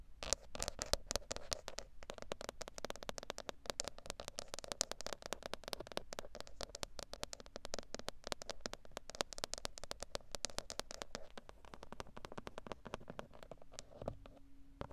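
Long acrylic nails tap and scratch rapidly on the textured black plastic centre pad of a VW steering wheel, a large hollow cover over the airbag. The dense, dry clicks and scrapes have a hollow plastic tone and a bright edge, with a faint steady hum underneath. Near the end the tapping thins out and the hum stands alone.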